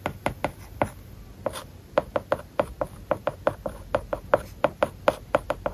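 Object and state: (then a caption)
Stylus writing on a tablet screen with a matte paper-like film. A plastic stylus tip writes small Japanese characters on a large iPad whose glass screen has a matte plastic paper-like film. About two dozen short, dry taps and scratches come in a quick, uneven rhythm, each with a brief mid-pitched click and a light, bright scrape that dies away almost at once.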